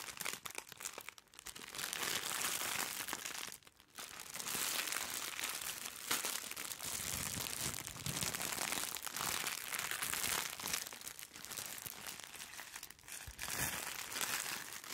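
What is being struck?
Soft plastic-wrapped package.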